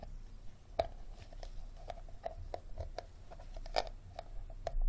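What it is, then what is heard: Empty plastic water bottle. Fingernails tap and scratch the ribbed, star-shaped bottom of an empty, hollow, clear plastic water bottle. Quick, dry, hollow ticks with a mid-pitched plastic ring are heard over a soft, continuous scratching texture, with the strongest taps near one second and just before four seconds.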